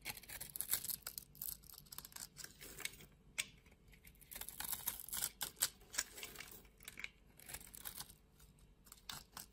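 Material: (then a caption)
Soap. A utility knife blade shaves the scored surface of a solid pink soap bar held in the palm, leaving small flakes. Quick, dry scraping and crisp ticking strokes come in bursts, mostly bright and high with little low end.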